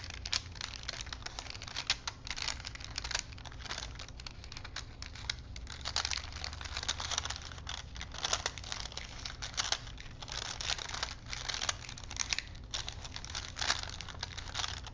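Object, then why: Paper film strip on wooden spools. A thin, flexible printed paper movie strip, wound between two small wooden dowel spools and held in both hands, is unrolled and rolled with the fingertips. The paper gives a steady, bright crinkling rustle full of quick, dense crackles, with a faint low hum underneath.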